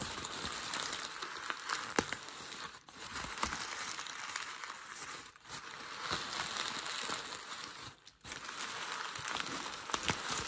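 A hand grabs a large crumpled sheet of grey packing paper and crumples it into a wad. A dense, bright crinkling with sharp crackles runs throughout, briefly dropping away in short pauses near 3, 5 and 8 seconds before resuming.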